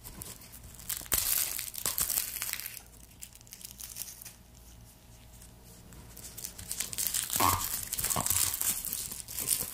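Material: Garlic skin.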